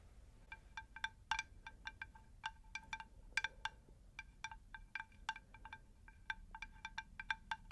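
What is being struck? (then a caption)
Unglazed terracotta plant saucer. A round, unglazed terracotta plant saucer about 20 cm across, shallow and rigid, is held upright and tapped on its underside with long pink nails. Many quick, light taps come in uneven bursts, each giving a short, clear ringing tone with bright overtones that fades almost at once, over a faint low background hiss.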